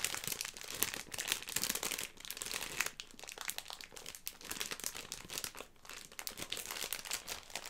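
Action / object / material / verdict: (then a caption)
shake / plastic film bag of gummy sweets / plastic film / none. A Haribo Starmix bag made of plastic film and full of gummies is held in both hands while long red nails crinkle and squeeze it, and the bag is moved and shaken. The result is a continuous run of bright, dense crinkling and crackling with sharp, quickly fading snaps, carried mostly in the high range with almost no low end.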